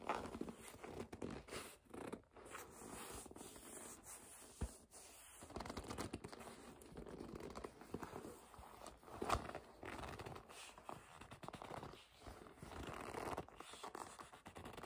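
Long nails grip, rub and scratch the surface of a hollow black leather bag held upright, producing slow, squeaky gripping and scraping sounds. The texture is soft and continuous, with brief louder squeaks and bright scratchy edges over a quiet background.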